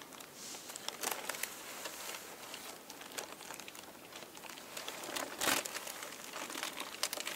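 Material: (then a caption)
Tissue paper. Thin purple and pink tissue paper sheets lie flat on a table while hands lift, fold, smooth and crinkle them with fingertips and nails. The result is a steady, bright, papery crinkling with quick crackly snaps and almost no low end, swelling into a louder rustling burst about two-thirds of the way through.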